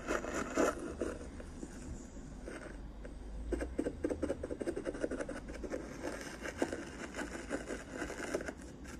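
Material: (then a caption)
Metal mesh. A soft black makeup brush held in the fingers is rubbed and brushed across the hollow silver metal mesh grille head of a handheld karaoke microphone. The result is close, dense scratchy swishes and quick rustling strokes over a steady low rumble, with a louder burst near the start and a busy run of rapid strokes through the second half.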